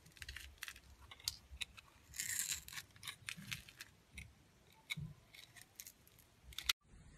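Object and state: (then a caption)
Glycerin soap bar being carved. A clear, translucent yellow glycerin soap bar held in the hand is scraped and sliced with a metal blade, leaving powdery shavings on its surface. The result is a run of quiet, crisp, bright scratching and cutting ticks, with a longer, brighter scrape partway through. The sound stops abruptly near the end before a faint hiss returns.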